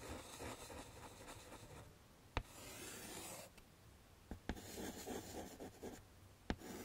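Chalk rubs and rasps across a wood-framed chalkboard, first in long, steady strokes drawing flower stems, then in dense, quick scribbles for grass. Brief sharp taps stand out between the strokes, and the scratching sound is broadband and bright.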